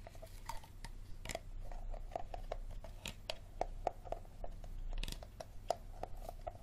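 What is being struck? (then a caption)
Plastic water bottle. An empty, hollow, clear Dasani plastic water bottle with a green cap is held over a table and tapped with fingertips and nails on its label and shoulder. A quick, uneven run of light, dry taps and clicks gives hollow plastic tonks around 690 Hz that stop almost at once, over a low, steady background hum.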